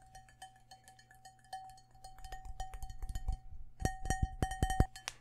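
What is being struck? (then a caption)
Cut crystal glass bowl. Fingertips tap quickly on the faceted side of a large, empty, hollow cut-crystal glass bowl held in the hands. Rapid, uneven taps each strike a clear glassy tone near 750 Hz with bright overtones that die away almost at once, over a low thudding undertone. The tapping grows louder and busier toward the end.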